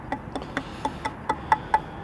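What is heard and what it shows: Eight knocks on the underside of a see-through, flexible board with wheels produce short, bright, glassy taps with a clear ring near 875 Hz that dies away almost instantly. Despite the board's bend, each knock sounds like hitting a thick piece of glass.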